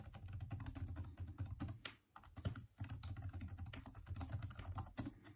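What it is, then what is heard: Plastic laptop keyboard. Both hands type with their fingertips on the backlit plastic keyboard of a Microsoft Surface laptop, the hollow keys giving a steady run of quick, soft taps. Each tap is a short, dull, low-pitched thud with almost no ring. The typing pauses briefly about two seconds in, then picks back up at the same pace.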